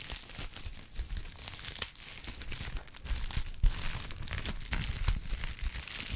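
A brown honeycomb kraft paper pad is crinkled and squeezed in both hands. It makes a steady stream of dense, dry crinkling and crackling with bright papery rustle over a low handling rumble, and louder crunches stand out around the middle of the clip.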